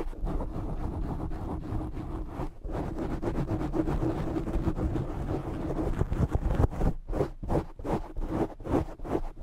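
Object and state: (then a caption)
Foam microphone windscreen being scratched. A black foam microphone windscreen is held and scratched with fingertips and short nails, producing a dense, muffled, rumbling scratch heavy in low frequencies with a faint steady hum. Toward the end, the scratching breaks into quicker, separate rubbing bursts.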